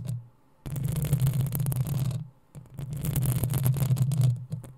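Long acrylic nails on both hands scratch the hollow metal mesh head of a black desktop USB microphone in two sustained bursts separated by a short pause. Each burst is a dense, bright, rasping scratch over a strong low resonant hum, then fades to quiet.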